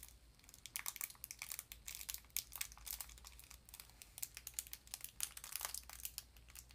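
Long nails scratch and crinkle the edge of the crinkly foil paper wrapper on a small, rectangular, apparently full sardine tin held in the hands. The result is a quiet, continuous stream of rapid, bright crackling and crinkling bursts with almost no low end, over a faint steady low hum.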